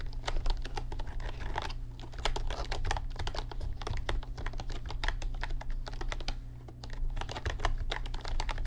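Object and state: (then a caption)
Plastic computer keyboard being typed on. Fingertips type quickly on an RGB backlit computer keyboard with plastic keys, producing a dense run of short, crisp clicks and clacks with a few brief pauses. A steady low hum sits underneath the clicking throughout.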